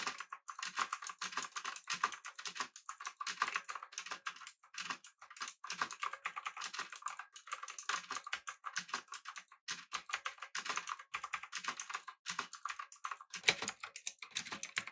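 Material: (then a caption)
Plastic. Fingertips of both hands type steadily on a pink typewriter-style mechanical keyboard with round plastic keycaps. The result is a fast, continuous run of short, bright clacks with almost no low end, each click dying away almost instantly.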